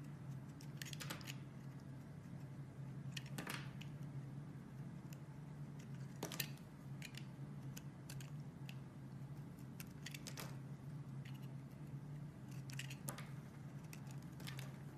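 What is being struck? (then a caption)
Bar of soap cut with a metal blade. A metal utility blade cuts chunks and slices off a solid, palm-sized pink bar of soap held in the hand, with cutting and scraping. Quiet, short, crisp bright scrapes and clicks come at irregular intervals over a steady low hum.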